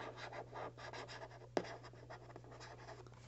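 Fingertips and nails scratch and tap the top of a small, hollow, white printed cardboard box held in both hands. Soft, papery scratching rises and falls over a steady low hum. One sharp tap stands out about halfway through, and the scratching then fades quieter.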